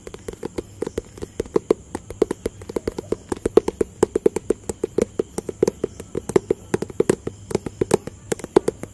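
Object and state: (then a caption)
Cardboard box tapped with fingertips. A hollow, rectangular white, grey and blue cardboard box is tapped with fingertips and nails in a fast, steady stream of short knocks. The taps are dry and hollow, centered in the low-mid range around 430 Hz, with a faint high hiss running underneath. Each tap dies away almost instantly.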